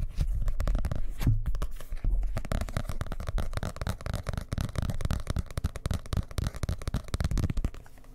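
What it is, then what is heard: Hardcover book. A dark blue hardcover book is held up and turned in the hands while fingernails scratch and tap its cover. A fast, dense run of dull scratches and quick taps continues throughout, heavy in the low end with little brightness. Each tap dies away almost instantly.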